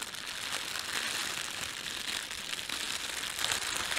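A red-and-white printed thin plastic bakery bread bag is rubbed with flat hands and crumpled with fingertips. The result is a steady, bright, crackling crinkle with little low end, swelling slightly in places over about four seconds.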